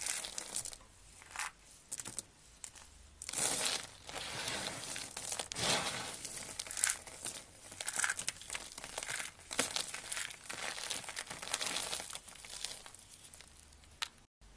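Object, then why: Soap flakes crushed by hand. Bare fingers and palms crush, squeeze and rub a pile of small, thin, solid shavings of dried blue and orange soap resting on a burlap mat. The result is a dense, bright crunching and crinkling that swells and fades in uneven bursts, with little low end.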